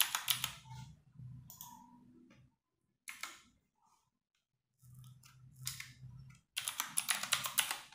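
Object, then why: Mechanical keyboard with plastic keycaps. Fingertips and long nails type rapid key presses on a compact 60% RGB-backlit mechanical keyboard with plastic keycaps, resting on a wooden desk. Quick bursts of bright, sharp plastic clacks with soft low thumps underneath are broken by short silent pauses, ending in a dense flurry of keystrokes.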